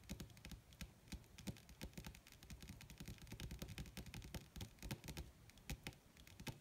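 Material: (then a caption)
Leather. Long red nails tap rapidly with their tips on a flat, wrinkled black leather (possibly faux) sheet. The result is a dense run of short, dry clicks with a low thud under each, plus bright crisp edges. The taps come too fast and overlap too much to count.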